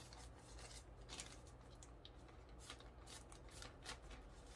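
Fingertips grip, crinkle and rub the thin film of a small clear plastic bag filled with white zen-garden sand while opening it over a wooden tray. Quiet, bright, brief crinkles and rustles come in irregular bursts over a steady low hum.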